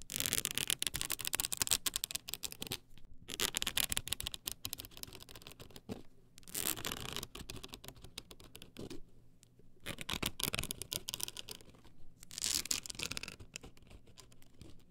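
Long acrylic nails scratch the edges of a tall stack of blank polycarbonate CD-R discs on a plastic spindle. The result is dense, bright, rapid scratching in bursts with short pauses between them, dominated by high hiss with little low end.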